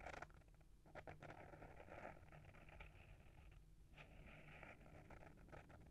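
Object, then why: Small hardcover book with paper-wrapped board cover. Short fingernails scratch the front of a small, solid hardcover book with a paper-wrapped board cover, held in hand. The result is a soft, continuous, papery scratching with brief brighter bursts over a faint low rumble throughout.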